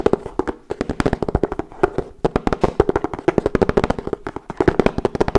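A hollow wooden folding chess board is held up flat-faced while fingernails tap rapidly across its checkered surface. Dozens of short, dry, clicky taps come in quick, uneven bursts, each with a faint hollow knock around 400 Hz that dies away almost instantly.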